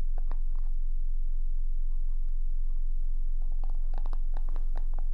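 Long acrylic nails tap and scratch the lid and white label of a small, closed black plastic skincare jar, probably full, held in both hands. Sharp, clicky taps come in a short burst at the start, thin out into faint scratching, then return as a quicker run of taps. A steady low hum runs underneath throughout.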